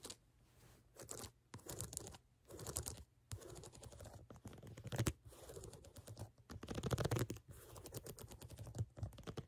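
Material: Rubber.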